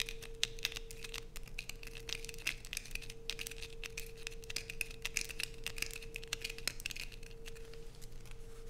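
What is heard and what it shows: A light-blue bar of soap held in hands has curls scraped off it by long pointed nails digging and scratching into it. The result is a quiet, dense run of crisp, dry scratches and crumbly crackles with bright, high detail, heard over a steady low hum and a faint tone near 470 Hz.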